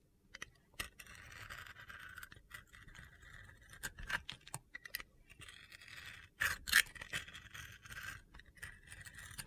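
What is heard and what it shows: A metal utility-knife blade scrapes and carves thin slices off the side of a solid rectangular bar of soap with a rainbow-to-yellow glitter coating, held in the hand, exposing the white soap underneath. The sound is a series of dry, gritty scratching and crunchy scraping strokes with a bright hiss centered around 2 kHz, broken by sharp clicks and a louder cluster of cuts near the end.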